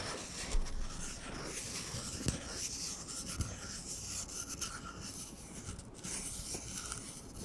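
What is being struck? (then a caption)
Cardboard paper towel tube. Fingertips slowly rub and scratch an empty, hollow brown cardboard paper towel roll. The result is a quiet, continuous papery rustle with a bright, gritty scratch over a soft low rumble, broken by a few brief taps.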